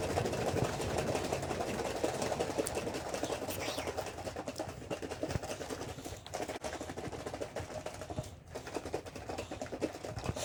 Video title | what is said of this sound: Making Butter with Ms. Jennifer | you're going to shake it until you stop hearing it slosh around, so you're not going to hear any more noise